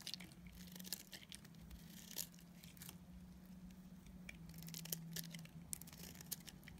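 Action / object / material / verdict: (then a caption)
scrape / bar of soap / soap / none. A utility knife blade shaves and cuts a solid soap bar with a grey shell and pink core, held in the hand. Quiet, crisp scraping and crackling bursts come through bright and dry, with a steady low hum underneath the whole time.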